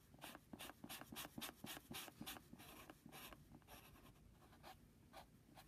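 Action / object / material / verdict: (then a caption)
scrape / padded paper mailing envelope / paper / none. A pencil's rubber eraser rubs steadily back and forth across a flat brown Jiffy padded paper mailing envelope lying on a desk, near the logo. A quick, uneven series of soft, dry scratchy strokes is heard, each a brief bright hiss over a faint low rustle. The strokes grow quieter and more spaced out toward the end.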